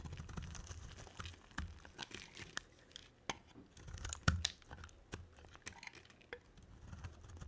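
A hand-held solid cream oval bar of soap is scraped and carved with a black-bladed utility knife, shaving off dry soap curls. Quiet, dry scratching and crackling come with sharp, bright ticks and a soft low rumble underneath, one louder crisp snap standing out partway through.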